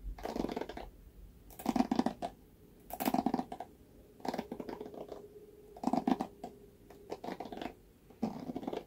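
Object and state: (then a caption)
Plastic paddle hairbrush. Fingertips and nails scratch and run over the black bristle pad of a red plastic paddle hairbrush. Seven bursts of dry, crackly scratching with a mid-low hum are separated by short quiet gaps, each burst made of quick rough strokes.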